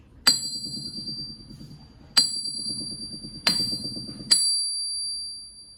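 A 100-year-old, 20 kg German PFP forged steel anvil, made before World War II, is struck four times. Each strike gives a sharp, high, bell-like ring that sustains between blows and fades out after the last. The clear ring is what a sound steel anvil is expected to have.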